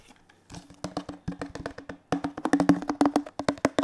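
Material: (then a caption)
Plastic. Fingertips and nails tap quickly and irregularly on the sides and base of a hollow teal plastic detergent bottle. Each tap gives a short, dry, hollow knock with a low resonant tone, in quick uneven bursts that grow louder in the second half.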